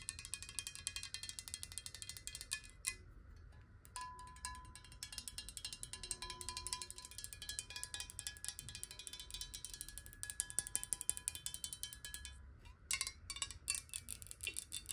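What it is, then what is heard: Glass water bottle. Long nails tap fast on a clear square glass bottle with a black cap, partly filled with water, held both sideways and upright. The result is a dense stream of bright, crisp clicks with faint glassy ringing tones around 1 kHz and 1.7 kHz. There are brief pauses near 3 and 13 seconds.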